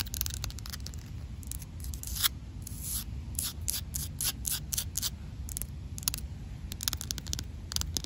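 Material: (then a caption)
Concrete. Long black pointed nails tap and scratch across a large, solid, rough outdoor concrete slab. Quick, bright, gritty ticks and scrapes repeat in rapid irregular bursts over a steady low rumble.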